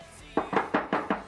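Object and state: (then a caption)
Hollow-sounding spot on a cement wall. Six knocks on a spot of cement wall in an underground bunker, a spot that sounds hollow unlike anywhere else in the bunker, possibly because the cement has contracted slightly. Each knock is a short, mid-pitched hollow thud that dies away quickly. Music plays underneath.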